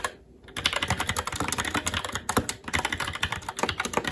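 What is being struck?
Plastic mechanical keyboard.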